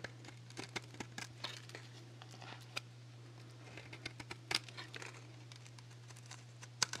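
A small handheld metal blade shaves thin, crisp strips off the face of a solid rectangular dry Axe soap bar, painted black and white with nail polish and held in one hand. Many short, bright crackling scrapes come at an irregular pace over a steady low hum, with a sharper snap near the end.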